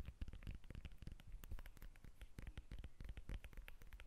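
Long red nails scratch and tap the textured peel of a whole, fist-sized yellow lemon held in both hands. A steady stream of quick, soft taps and scratchy crackles is heard, each short and dull with a low, muffled thump. The sounds are quiet and closely packed over the whole clip.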